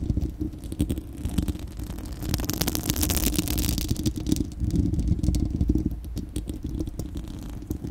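Long acrylic nails on both hands scratch a bare, hollow, fist-sized spherical steel wire-mesh microphone grille. The result is a dense, continuous scratching with a heavy low rumble. Rapid crackly strokes throughout swell into bright, hissy bursts near the middle.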